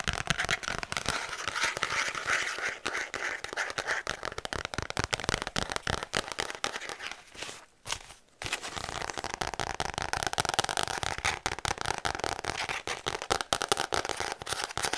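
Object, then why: Paper notepad with cardboard backing. Long acrylic nails tap and scratch fast on the brown kraft cardboard backing of a thick, solid notepad of lined paper held upright in both hands. The result is a dense stream of sharp, dry clicks and scrapes with a bright, papery crackle. It breaks into a brief near-silent gap around the eight-second mark before the rapid tapping resumes.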